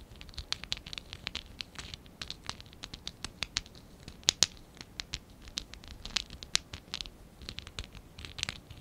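A small, hollow stack of lilac and dark blue ABS plastic Lego bricks from Lego Classic 11017 is held in both hands while fingertips and short nails scratch and rub it. It makes a steady run of quick, dry, bright scratching clicks with almost no ring and little low end, with a few sharper, louder taps standing out.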